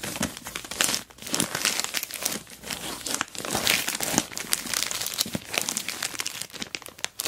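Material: Plastic film.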